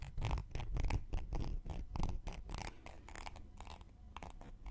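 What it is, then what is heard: Cork coaster scraped with a wooden needle. A thin wooden knitting needle scrapes along the rim and edge of a round, flat, solid cork coaster held in one hand. It makes a series of quick, uneven scratchy strokes with bright bursts over a dull low rumble, fading slightly toward the end.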